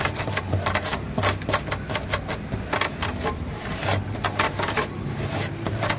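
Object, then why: Wooden slat tabletop. Long fingernails on both hands tap rapidly on a grey, weathered solid wood slat tabletop, producing a steady stream of short, dry clicks and knocks. Each tap dies away almost at once, with a woody tone centred near 900 Hz over a low, rumbling background.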